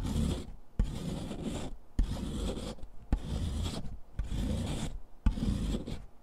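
A solid gray chalk stick is grated back and forth by hand on the metal rasp of a purple foot file, piling gray powder onto cardboard. Six rough, continuous rasping strokes are separated by brief pauses, each starting with a sharp scrape and carrying a heavy low rumble under a dry, gritty upper hiss.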